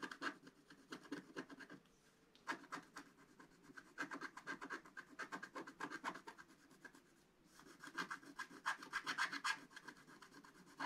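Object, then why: Scratch-art paper sheet scraped with a wooden stylus. A wooden stylus scratches the coating off a flat, black-coated scratch-art paper page in quick, repeated strokes. The result is a quiet, dry, rasping scratch with a bright edge, broken by brief pauses near 2 and 7 seconds.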